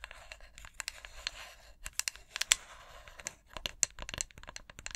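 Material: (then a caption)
Glass. Long acrylic nails scratch and tap along the side of a medium-sized white glass three-wick candle jar with a printed snowflake design and a metallic lid rim, held in both hands. Soft, bright scratching crackles are broken by irregular, crisp clicking taps that stop almost instantly with no ring.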